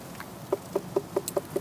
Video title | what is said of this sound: Harvesting the FIRST Melons from the Garden! | that sounds pretty good that should sound kind of hollow that sounds pretty cool pretty good to me